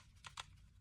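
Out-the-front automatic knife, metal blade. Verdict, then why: Slightly loose. A deployed Benchmade Shootout out-the-front automatic knife with a metal blade is shaken hard to check for blade rattle. Two short, bright clicks sit over a low steady hum. The blade shows a slight rattle with a little side-to-side and up-and-down play, which is pretty common for OTF knives, including Microtech.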